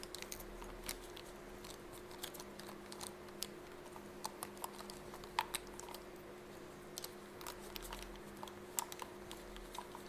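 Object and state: Fabric pencil case.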